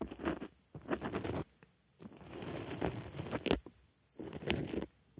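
A wooden stick scratches and pokes in the center hole of a white foam makeup sponge resting on a microphone ear. It makes soft, crunchy scratching in uneven bursts, with a longer continuous scrape in the middle. The sound is mostly mid-range with faint bright edges.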